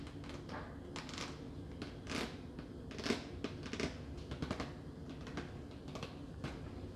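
A clear, hollow plastic clamshell container of mini muffins with a paper label, about 20 cm, is held in the hand and tapped with long nails. It gives a quick, uneven run of light, dry clicks and ticks over a soft, steady background hiss, with a few louder taps standing out.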